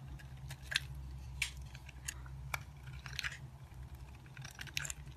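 A solid rectangular white soap bar, held in the fingers, is scraped and carved with a metal utility knife blade, and the shavings pile up on a granite counter. Short, crisp, bright scraping clicks come at irregular intervals over a steady low hum.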